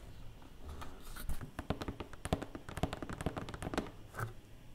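Long painted nails tap rapidly inside an empty, open black cardboard box tray. The irregular run of short, dry taps has a hollow, low thud with bright clicky edges and almost no ring after each hit.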